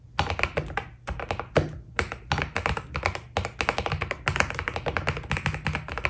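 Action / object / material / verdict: tap / mechanical keyboard with PBT plastic keycaps / plastic / none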